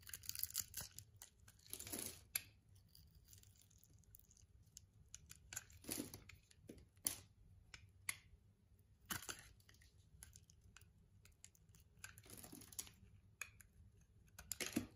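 A solid pink soap bar is cut and scraped with a yellow-handled utility-knife blade, and small cubes break off. Bright, crisp scraping and crunching bursts, some drawn out and some short and sharp, stand out against a quiet background with a faint low rumble.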